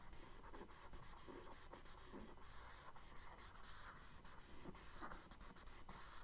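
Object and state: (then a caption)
Charcoal scratching on kraft paper. A charcoal stick makes short, quick scratching strokes on a tan kraft paper page in a spiral sketchbook resting on a wooden desk, hatching the reflection under a drawn boat. The strokes come as a fast, steady run of dry, bright scratches over a soft, continuous hiss, with small dips between them. The result is a quiet, gritty rasp of charcoal dragging across the paper.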